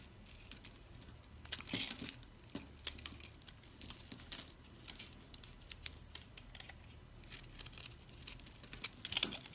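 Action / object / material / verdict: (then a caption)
scrape / soap bar scraped with a metal blade / soap / none. A metal blade scrapes and chips small cubes off a solid, oval, pink dried soap bar that is pre-scored in a grid and held in the hand, while crumbs fall. The sound is a quiet run of dry, crisp crunches and crackly scrapes, bright and papery, with short louder bursts as pieces break away.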